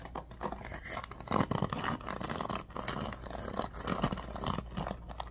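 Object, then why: Bamboo paddle hairbrush with pin bristles. Fingertips and nails scratch and strum across the ball-tipped pin bristles of a handheld bamboo paddle hairbrush with a black cushion pad. The result is a steady run of dense, crackling, brushy scratches with quick ticking strums, close and quiet over a faint low hum.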